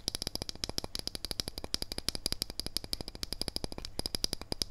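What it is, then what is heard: Metal wristwatch case. Fingernails tap and scratch rapidly on the steel case of a wristwatch held edge-on. The result is a fast, steady stream of dozens of short, dry metallic clicks with a bright, high ring and almost no decay, over a faint low hum.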